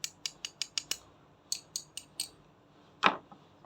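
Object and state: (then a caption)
Die-cast metal toy foot part. Light, bright ticking taps on the foot part of a 1/72 Gundam Destiny x Barbatos Metal Build action figure (Kamaitachi Devil in Hearts by Vientianne Toys) come in two quick runs of six and then four, followed by a louder, fuller knock and a couple of faint ones. The sharp, short-ringing sound differs from plastic, showing the foot part is also die-cast metal.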